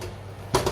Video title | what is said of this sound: Easy loaf of bread | give it a tap if it sounds hollow its baked